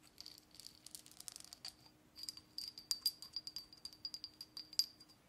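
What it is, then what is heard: Textured ceramic cup. Long dark-painted nails scratch and tap along the raised, patterned, glazed outer wall of a small handmade hollow ceramic pottery cup held in the hand near the face. It makes quick, irregular bursts of bright, dry clicks and scrapes that die away almost instantly, with a brief pause near the two-second mark before a louder second run. A faint steady low hum sits underneath throughout.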